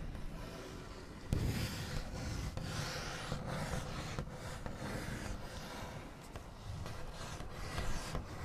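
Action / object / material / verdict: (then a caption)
scrape / painted wooden tabletop / wood / none. Fingernail backs rub and trace across a large, solid wooden tabletop with a smooth white finish, making a quiet, continuous scratchy rasp. A few slightly louder taps and scrapes stand out from the steady rubbing, which sits mostly in the low range with little bright content.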